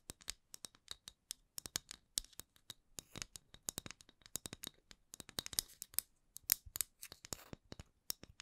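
The wooden lid of a candle is tapped and scratched, giving about forty quick, dry, bright clicks and scrapes with almost no low end. Each hit dies away instantly with no ring, and the taps come in uneven, closely spaced bursts at a quiet level.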